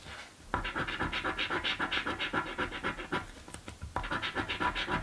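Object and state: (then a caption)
Coin scratching a paper lottery ticket. A coin held in the fingertips rapidly scratches the panels of a blue paper scratch lottery ticket, making a steady run of quick, bright, rasping strokes. The scratching starts after a short quiet moment, pauses briefly near the middle, then resumes at the same fast pace until the end.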